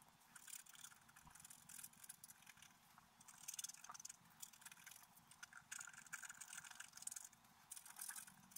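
A bamboo stylus scrapes a flat, black-coated scratch-art paper card held down by one hand, scratching out a stag with large antlers. Continuous, quiet, dry scratching comes in uneven bright bursts, mostly high and hissy with almost no low end.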